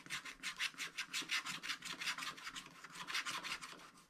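A wooden stylus scratches the black wax coating near the right edge of a scratch-art paper page. It makes quiet, dry, bright rasping strokes in a quick, uneven back-and-forth rhythm, with almost no low end.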